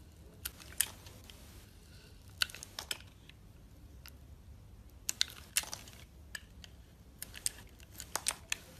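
A solid purple and lilac soap bar, held in the hand, has its outer layer sliced off in thin strips with a metal box-cutter blade. The cuts sound like short, crisp, bright scrapes and crunches, coming at irregular intervals over a faint low hum. Each one stops almost instantly.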